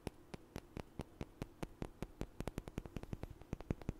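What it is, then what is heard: Small wooden blocks knocked together. Two small, solid, light wooden blocks, one held in each hand, are knocked and tapped together in front of the mic. About 28 short, dry knocks come in an uneven rhythm, spaced out at first and quicker toward the end. Each knock dies away almost instantly over a faint, steady background hiss.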